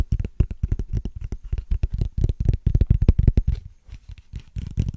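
Fingernails scratch and tap across the ridges of a small, hollow, clear ridged plastic case, making a rapid, uneven run of short, dry clicks and scrapes. Each hit is quick and dull, with most of its weight low and almost no ring. A brief pause comes near the end before the tapping picks up again.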